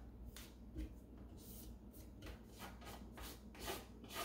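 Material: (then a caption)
Wood. Bare fingertips and a palm rub and sweep across the flat wooden bottom panel of an empty, open light-wood kitchen drawer with crumbs on its base. The result is a quiet, dry brushing and rubbing: irregular soft strokes with a bright, hissy texture over a low, steady rumble.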